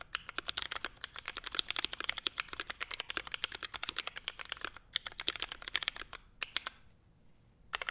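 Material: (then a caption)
ABS plastic. A Forever 65 mechanical keyboard with a navy case, Hyperglide MX Brown switches, a carbon fiber plate and grey and white ABS keycaps is typed on with the fingertips of both hands in a fast, steady stream of short, bright, hollow clacks. Near the end the typing stops for a brief near-silence, then one finger presses a few last keys.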